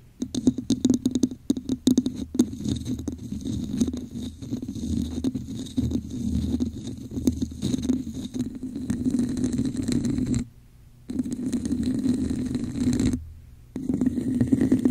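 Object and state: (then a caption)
Textured plastic cup. Long acrylic nails tap and scratch the top rim of a hollow red plastic cup with a raised diamond texture, held over a microphone with both hands. Quick, dense, hollow taps ring with a muffled low tone at first, then give way to steady raspy scratching. The scratching stops briefly twice near the end.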